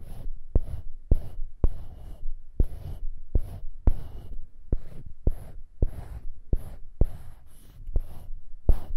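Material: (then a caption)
Wood. Fingertips and nails scratch and tap a small solid light-wood cube mounted on a polished dark-wood handle, held above foam-covered microphones. About fifteen soft, dull knocks with deep low thumps stand out between stretches of quiet, dry scratching.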